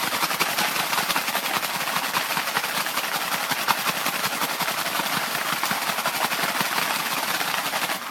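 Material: Cardboard.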